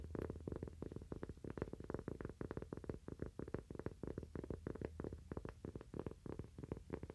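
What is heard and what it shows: Fingernails tap rapidly and irregularly on a cork "toaster coaster." The taps are soft, dull and quick-decaying, with no high-frequency brightness, and a steady low hum sits underneath.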